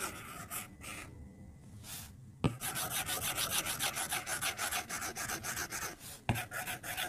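A white plastic stylus held in the fingers rubs and taps across the glass touchscreen of an iPad lying flat on a white desk while drawing in Procreate. Quick, bright, raspy scratching strokes repeat rapidly, punctuated by two sharper taps of the stylus tip on the glass.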